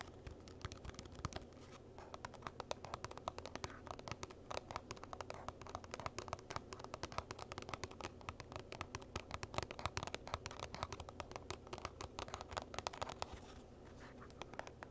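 Fingernails tap and scratch a small, hollow, printed cardboard gift box that is tilted to show its bottom and side. A steady stream of quick, dry clicks and rasping scratches is heard over a low hum, each sound short and dying away almost at once.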